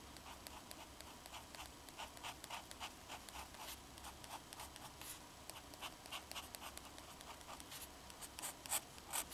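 A black fountain pen's metal nib scratches across a flat, thin, solid sheet of drawing paper while drawing lines. The result is a quiet run of short, bright, dry scratching strokes at an uneven, fast pace, with a few sharper strokes near the end.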